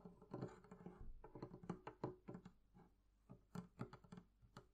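Long nails and fingertips tap the wooden sides and top of a hollow, closed, wooden barrel-shaped chest. The result is a quiet, rapid, irregular run of soft, hollow knocks and clicks with a low, woody resonance around 370 Hz and very short ring, plus faint bright nail ticks.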